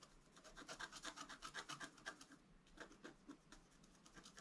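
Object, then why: Black-coated scratch art paper card scraped with a wooden stylus. A wooden stylus scratches along the antler on a flat black-coated scratch art card in quick rubbing strokes, about four per second. Each stroke gives a dry, bright rasp with little low end, steady at first, then briefly thinning before the strokes pick up again more softly.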